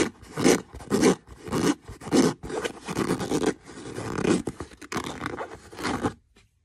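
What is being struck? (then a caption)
Leather boot. Fingernails scratch across the same brown leather boot in a string of rough, irregular strokes. Each stroke gives a dry, raspy scrape with a hollow low-mid body and a bright hiss on top, and the sound stops abruptly into near silence just after six seconds.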